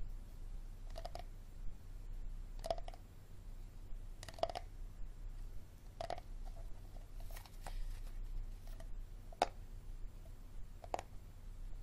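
A hard plastic water bottle is tapped and scratched, giving sharp, hollow clicks with a mid-pitched knock around 720 Hz and quick scraping between them. The taps are short and spaced unevenly over a low, steady background hum.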